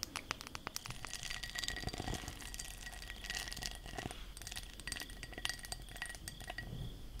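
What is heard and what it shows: A textured glass object is tapped and scratched with long nails, producing a rapid, continuous run of bright, glassy clinks and chinks that die away almost instantly. Scratchy, rasping texture fills the gaps between the taps over a steady low background.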